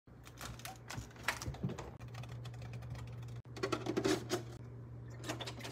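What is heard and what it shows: Rapid, irregular tapping on a refrigerator, with quick taps that sound like typing over a steady low hum. The level drops out briefly a few times between bursts of taps.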